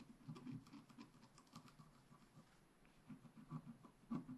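A wooden stylus scratches small strokes into a flat black scratch art paper sheet near the top right leaves, held steadily. Quiet, irregular, papery scratching strokes patter along with a soft, dull low-mid body and very little brightness, each dying away almost instantly.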